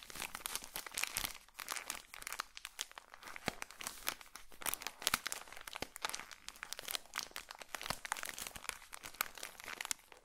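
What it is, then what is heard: Plastic-wrapped pocket tissue pack. A small, colorful pocket tissue pack in a plastic wrapper is held in front of a microphone and crinkled with the fingertips of both hands. A dense, steady stream of bright, crisp plastic crackles and crunches continues throughout, with sharp snaps that stop almost instantly and very little low end.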